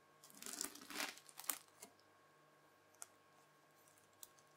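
A white plastic fork scratches through red bead-filled floam slime and folds it, making quiet, bright crackling and crunching bursts over the first two seconds. Later come a few isolated sharp clicks over a faint, steady background hum.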